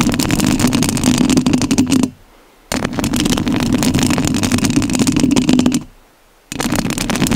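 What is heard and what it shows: Long nails scratch the metal mesh grille of a rhinestone-covered studio microphone, producing dense, rough, crackling scrapes with a strong low-mid body around 250 Hz and a bright hiss on top. The scratching comes in three bursts separated by two short near-silent pauses.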